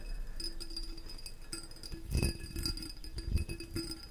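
A small, hollow, ribbed green glass mushroom figurine is held in the hand and tapped with the fingertips and nails. Quick, light glassy clicks and chinks come in a steady run, with a faint ringing tone and bright, high overtones over a low, soft handling rumble. The taps are a little louder and denser in the middle of the clip.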